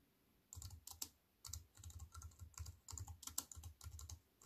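Fingertips with long white-painted nails type on a slim wireless keyboard with a silver aluminium frame and black plastic chiclet keys resting on a wooden table. Quick runs of bright, crisp key clicks over a soft low thump come in bursts separated by brief pauses, each tap dying away almost instantly.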